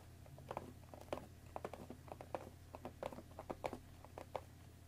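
Long nails tap and scratch the top of a hollow, rectangular cardboard Earl Grey tea bag box. The result is a quiet, irregular run of short, dry, hollow clicks with soft scratchy brushing between them, each tap dying away almost instantly over a faint low hum.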